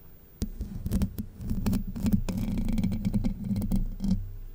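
Long white nails scratch across the hollow domed steel mesh grille of a Blue Yeti microphone. The result is a dense, scratchy patter of sharp clicks over a boomy low rumble with a steady hum near 200 Hz.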